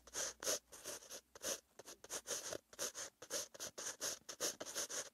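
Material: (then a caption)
Paper. A metal-tipped green pen held in the fingers scratches along a lined white page of a paper notebook lying flat, writing out handwritten text. It makes a quick run of short, bright, airy scratching strokes with brief pauses between them.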